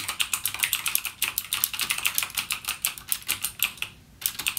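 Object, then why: Plastic mechanical keyboard. Fingertips type continuously on a backlit mechanical gaming keyboard with plastic keycaps and clicky Cherry MX Blue switches. Rapid, bright, sharp clacks follow one another with almost no low end and very short decay. There is a brief pause near the end before typing resumes.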